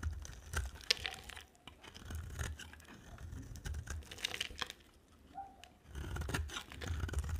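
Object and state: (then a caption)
Dry bar of soap being shaved. A utility-knife blade shaves and carves a solid green-and-white striped bar of dry soap, making crisp scraping and crunching strokes with a bright, tearing texture over a low rumble. The carving comes in bursts with brief quieter gaps, and each stroke ends sharply with no ring.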